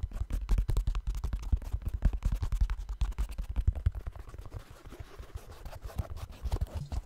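Fingertips tap and scratch the upper of a black synthetic mesh trail running shoe near the laces. Rapid, uneven, dull low thuds come with a soft scratchy texture. Around the middle the sound eases into quieter scratching, then the tapping picks up again at the end.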